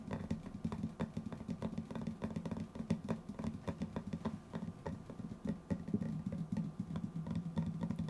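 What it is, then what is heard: Metal tin lid. A small, round, white-lidded metal tin, likely hollow, is held beside the microphone and tapped on its lid with fingertips and nails. Quick, irregular streams of soft taps and light clicks run throughout, each dying away almost instantly. A low, dull body tone sits under the taps, with sharp, thin ticks on top.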